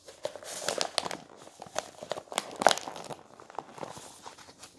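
A glossy coated-paper sports magazine is held in the hands while its thick pages are bent, folded and turned with the fingers. The result is a dry crinkling and crackling, with many sharp, bright snaps over a soft papery rustle, and almost no low end. The snaps peak a little before the three-second mark.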